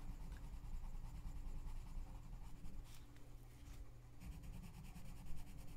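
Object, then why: Paper coloring book page scratched with a wooden colored pencil. A gloved hand colors an open paper coloring book page lying flat, scratching the paper with the tip of a pink wooden colored pencil. The quiet, steady scratching rides over a low, constant hum. Brief bright strokes stand out now and then.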